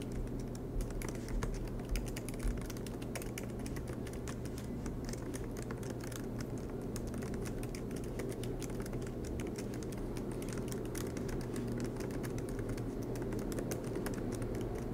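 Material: Plastic.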